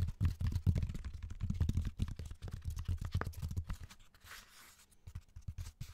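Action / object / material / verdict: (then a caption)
tap / raw cork bark slab / cork / none. A raw cork bark slab is held upright next to the microphone while the fingernails of both hands tap and scratch its rough surface. The result is a dense run of quick, dull, low-pitched taps mixed with scratching that thins out and softens in the middle before the tapping picks up again.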